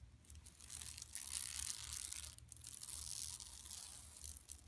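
A large, flat, yellow woven plastic mesh tote with striped side panels and a printed buffalo logo lies empty on carpet while long manicured nails of both hands scratch and rub across it. The result is a dense, bright, rasping scratch with quick, uneven strokes that swell and fade, over a faint low hum.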